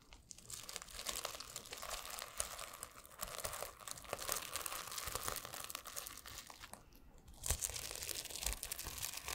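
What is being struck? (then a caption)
Plastic flip sequins on a notebook cover. Fingertips and nails scratch and flip the plastic sequins on a blue and silver flip-sequin notebook held close to the mic. A dense, bright crinkling and scratching runs throughout, dipping briefly near the seventh second before resuming a little louder.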